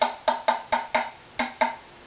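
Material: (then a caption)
Wood. A wooden violin tailpiece is tapped eight times behind each string position, in an arc toward the waist, to hear its tap-tone frequency, with a target of matching the back at 198 Hz. Each tap is a short, dry woody knock that rings for under a tenth of a second, with a bright tone near 880 Hz over a fainter lower tone around 200 Hz.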